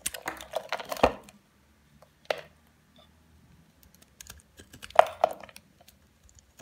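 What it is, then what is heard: Bar soap being cut. A solid, palm-sized oval white Dove bar soap held in one hand is shaved with a utility knife blade, scraping off curls in repeated strokes. Short, dry scraping and crisp cutting sounds come in bursts, with the loudest strokes near the start, in the middle and toward the end, separated by quiet gaps.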